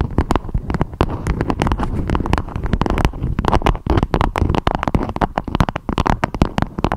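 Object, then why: Beeswax-coated fabric wrap. Long acrylic nails rapidly tap and scratch a beeswax-coated fabric food wrap with a strawberry print, shaped into a dome. The result is a dense stream of dull, crinkly clicks and scrapes, heavy in the low end with little brightness, each hit dying away almost instantly.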